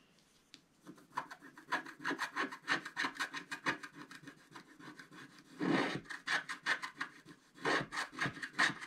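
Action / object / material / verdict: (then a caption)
scrape / scratch-art paper card with wooden stylus / coated paper / none. A wooden stylus scratches the black coating of a flat scratch-art paper card with fast strokes. Quick, dry, rasping scrapes follow one another in a steady rhythm, with a longer continuous scrape midway and a brief pause before a final burst of strokes.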